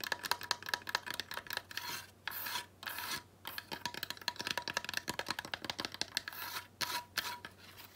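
A small weathered wooden slat sled decoration with rope is held and turned over while long nails scratch and tap quickly across the wood. Dense, bright raspy scratches mix with short dry taps, broken by brief pauses.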